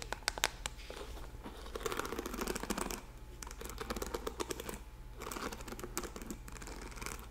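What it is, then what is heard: Plastic paddle hairbrush. Long painted nails tap and scratch the hollow back of a hand-sized pink and red plastic paddle hairbrush with metal-tipped bristles, held close. Quick, sharp clicky taps mix with denser bursts of dry, crinkly scratching, all short and dead with no ring, over a faint low hum.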